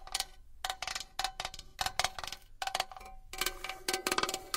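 A small metal box is tapped and scratched with long nails, giving quick, bright metallic taps with a short ringing tone around 730 Hz. The taps come in dense clusters that are hard to count apart, with scratchy rustle between them.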